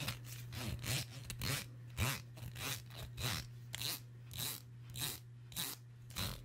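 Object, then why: Plastic wide-tooth comb. Long nails flick and scrape the teeth of a black wide-tooth plastic comb held close to the mic. Each pass makes a bright, raspy burst with a quick rattling tick, repeating in a loose, uneven rhythm. A steady low hum sits underneath throughout.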